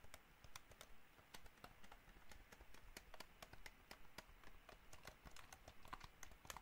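Fingertips tap on the buttons and body of a hollow white plastic gamepad. Quick, dry, bright clicks come in an uneven, steady stream over a faint low background rumble. Each tap stops almost at once with no ring.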